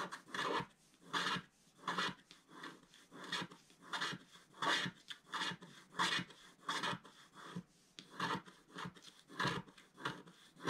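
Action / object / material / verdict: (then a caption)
scrape / wax-coated scratch art paper scraped with a wooden stylus / wax paper / none. A wooden stylus scratches the black coating of a flat, wax-coated scratch art sheet around the tree area. Repeated rasping strokes come in an uneven rhythm, each a dry, papery scrape with a broad hiss that reaches into the high range. Quiet pauses separate the strokes.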